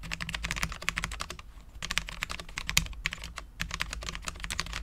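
A full-size low-profile Cherry MX10.0 mechanical keyboard with Cherry LP switches, dark ABS keycaps and a steel plate is typed on with the fingertips of both hands. Quick, bright clacky taps run continuously, with brief pauses near 1.5 and 3.5 seconds, over a steady low hum.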